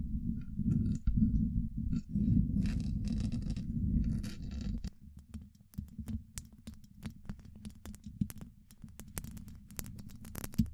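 Long acrylic nail tips work over a hollow, domed steel mesh microphone grille. For about the first five seconds there is dense, rumbling scratching with a low hum near 220 Hz. It then gives way to quieter, scattered taps with short, bright clicks and little ring.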